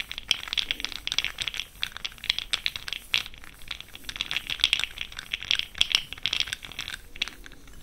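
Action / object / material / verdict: shake / plastic jar of small cosmetic powder pearls / plastic / none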